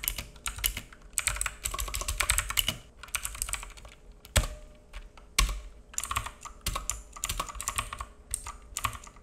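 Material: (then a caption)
Plastic. Fingertips of both hands type on a black full-size mechanical keyboard with plastic keycaps and a hollow case, resting on a wooden desk. Rapid bright, clacky key taps come in bursts separated by short pauses, each with a little low body beneath. Two heavier, louder taps stand out near the middle of the clip.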